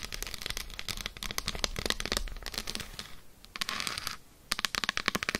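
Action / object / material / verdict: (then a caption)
tap / dark chocolate bar / chocolate / none. Long acrylic nails scratch and tap an unwrapped solid Lindt dark chocolate bar resting on faux fur. A dense run of quick, crisp, bright clicks and scratchy scrapes briefly dips into quieter, softer scratching. It ends in a burst of sharp, separated fast taps.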